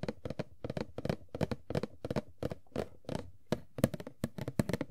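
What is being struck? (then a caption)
Cardboard toy box with plastic window. Long nails tap across the top and sides of an empty, hand-sized, hollow printed cardboard Funko Pop box (Tuxedo Mask) with a clear plastic window. The result is a quick, uneven series of short, dry, hollow taps with a low-mid body and almost no ring, each one stopping abruptly.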